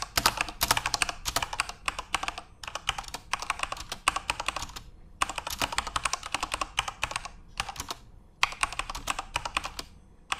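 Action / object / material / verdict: tap / mechanical computer keyboard with plastic keycaps / plastic / none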